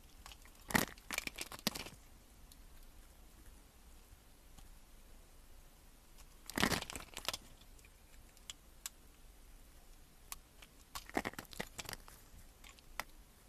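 A metal blade slices cubes off a solid green soap bar that has been scored into cubes and is held between the fingers. Crisp, crunchy cracks and crumbly crackles come in three main clusters, with scattered small clicks between them over a quiet background. Each cut is short and dry, with almost no ring.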